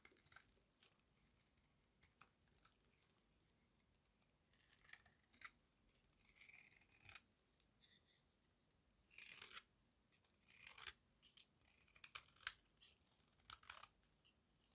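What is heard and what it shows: A solid oval bar of dry white soap, held in the hand, is shaved by a small metal blade, peeling off crunchy flakes. Quiet, crisp scraping and crackling cuts come in irregular bursts, bright and dry with almost no low end and no ring after each stroke.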